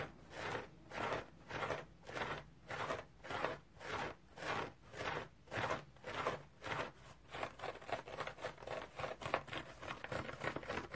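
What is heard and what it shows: Fingernails scratch a round, dry, multicolored striped cellulose sponge, making a soft, crunchy, rasping scratch. Steady strokes rise and fall at an even pace for about seven seconds, then the scratching turns faster and more irregular, with quick overlapping rasps to the end.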